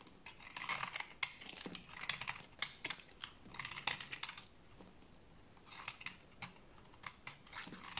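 A small, pale cream bar of dry solid soap is held in the hand and shaved and scraped with a utility knife blade into crunchy shavings. The scraping comes as bursts of dry, bright, crisp crunching strokes with short pauses between them. The sound is quiet and close, with very little low end.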